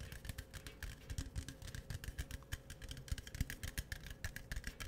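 Fingertips and nails tap and scratch the sides and top of a tall, hollow, green printed aluminum beverage can held in both hands. The result is a quick, irregular run of short, dull clicks and soft scratchy rustles over a faint steady hum.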